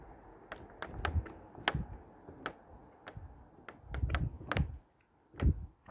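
Fingers flip and turn the printed paper pages of a large, thick hardcover plant book with a red cover and a solid block of pages, the pages brushing against each other. A quiet series of short, dry paper flicks and soft brushing sounds, each with a brief bright crackle over a dull low thump. The turns come in uneven bursts with short lulls in between, and each sound dies away almost at once.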